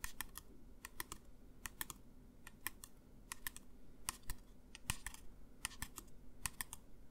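A medium clear plastic bottle with a white pump top, hollow and apparently empty, is held upright in one hand and tapped with the fingertips of the other. Quick, light, clicky taps come in irregular bursts over a low background hum, each one short and dry with almost no ring.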